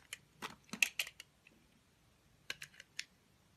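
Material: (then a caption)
Soap. A utility knife cuts and scrapes slices from the face of a small, solid, orange translucent soap bar held in the fingers. Sharp, dry clicks and crisp scraping snaps come in two bursts separated by a short pause, bright and high with almost no low end and no ring after each stroke.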